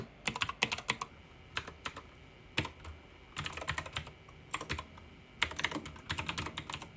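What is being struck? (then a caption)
Plastic mechanical keyboard. Fingertips type rapidly on a pink backlit mechanical keyboard with plastic keycaps and a roller wheel. Bright, sharp clacks come in quick bursts separated by short pauses, each keystroke dying away almost instantly over a faint low hum.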